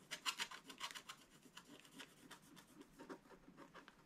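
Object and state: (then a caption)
Scratch-art paper page. A wooden scratching stick is rubbed and scraped repeatedly across the black coated area of a flat, wax-coated scratch-art book page. About fourteen quiet, bright, raspy strokes come in an irregular rhythm, each a dry scratch with almost no low end and no lingering ring. The strokes are loudest near the start and soften over the rest of the clip.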